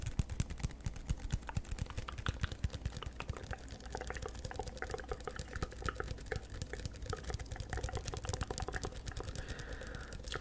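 A small, hollow paper coffee cup with a chevron pattern, apparently empty, is held in one hand close to the microphone and tapped and scratched with the fingertips. It makes a steady stream of rapid, soft, dry taps with a low hollow thump, mixed with light papery scratching that stops instantly after each touch.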